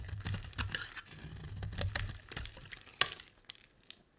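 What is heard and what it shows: A solid oval yellow bar of soap held in the hand is shaved and scraped with a metal utility blade, its curls falling into a pile. Dry, crackly scraping strokes with a low rumble run through the first half, then a sharp crisp snap. The sound thins to fainter, sparser scrapes as it fades.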